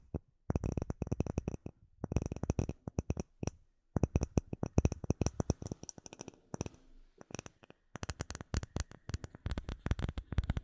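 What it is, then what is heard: Acrylic plate tapped with nails. A flat, solid, clear acrylic plate with embedded bubbles is held in both hands while short nails rapidly tap and scratch it. Quick, dry clicking taps come in dense bursts separated by brief pauses, each with a dull low thump and a bright clicky edge that dies away almost instantly. A short stretch of softer scratching sits between the tapping runs.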